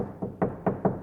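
Four taps on the fiberglass door panel of a 1966 Corvette with no sound deadening give short, hollow knocks centered low around 200 Hz. Each knock dies away quickly, and the door sounds hollow because it is untreated.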